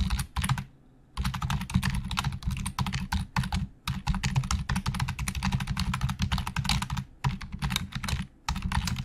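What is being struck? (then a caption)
Plastic computer keyboard keys. Fingertips of both hands type very fast on the hollow plastic keys of a black plastic Logitech full-size keyboard resting on a desk. Dense, rapid clatter forms a steady stream of short, dry clicks with a low, hollow thump beneath bright key snaps. The stream breaks for brief pauses near the start and a few times later.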